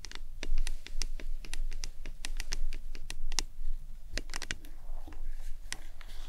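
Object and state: Plastic tumbler cup tapped with nails.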